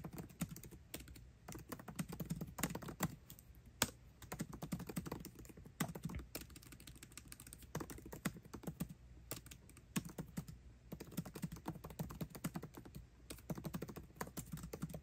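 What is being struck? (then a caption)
Laptop keyboard with plastic keycaps in an aluminium body. Fingertips type fast on a MacBook Pro keyboard with plastic keycaps set in an aluminum body. A steady stream of quick, light key clicks and taps fills the clip, each with a short dull thump and almost no ring.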